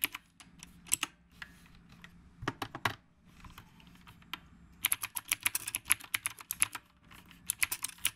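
Fingertips of both hands type on a retro typewriter-style mechanical keyboard with round plastic keycaps on a dark housing. Sharp, bright plastic clacks come in quick bursts, with a quieter stretch of softer taps in the middle before fast typing resumes.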